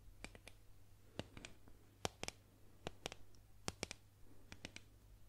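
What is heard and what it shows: A solid painted wooden boomerang is tapped with long nails and fingertips, making a quiet run of sharp, dry clicks that die out almost at once. The taps come in small irregular clusters over a steady low hum.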